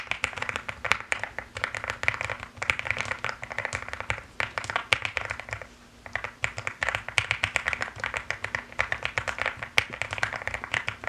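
Fingertips and long nails type continuously and fast on a mechanical keyboard with pink and white plastic keycaps. The result is a rapid stream of short, bright clicks that stop almost instantly. The typing eases briefly near the middle, then picks back up at the same pace.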